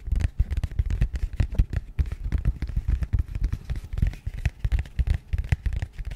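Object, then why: Small rigid cardboard box. A small, rigid, matte grey cardboard box is held beside the mic and tapped and scratched with long nails. The result is a rapid, dense run of short, dry, low thumpy taps with a faint scratchy texture, each dying away almost instantly.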